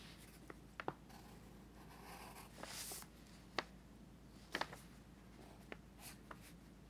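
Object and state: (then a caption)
Pencil drawing on a paper sketchbook page. A pencil tip scratches across an open paper sketchbook page resting on a teal folder while the other hand holds the page flat. Soft, dry scratching and brushing strokes are broken by several short, sharp ticks of the pencil against the paper. A faint low hum runs underneath throughout.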